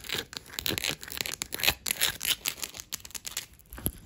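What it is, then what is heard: Wooden table top. Green claws and long grey nails tap and scratch quickly across a solid, dark wood-grain table top. The result is a rapid run of bright, crisp clicks and dry scraping bursts, each dying away almost at once, with very little low end.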